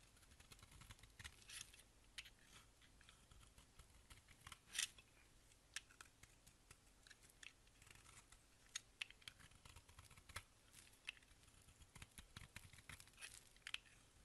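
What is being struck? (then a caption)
Bar of soap scraped with a blade. A box-cutter blade scrapes flakes off a solid oval blue-white marbled bar of soap held in the hand. Many quiet, bright, crisp scrapes and ticks follow one another irregularly, with one louder scrape a little before the five-second mark. Each sound is short and dry, with almost no ring afterward.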